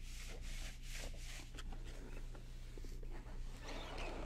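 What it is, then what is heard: Faux leather vanity case scratched. Long nails and fingertips rub and scratch across the top of a medium hollow cosmetic vanity case covered in gold polka-dot faux leather. The result is a steady, uneven rasp of scratchy rubbing strokes over a constant low hum.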